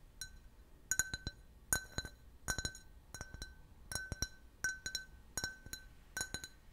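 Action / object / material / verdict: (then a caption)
tap / can-shaped glass drinking glass / glass / none. A clear, hollow, empty can-shaped glass beer glass is held and tapped with fingernails and fingertips. The taps come in irregular quick clusters of bright clinks, each with a short ringing tone near 1.5 kHz and high overtones that fade almost at once.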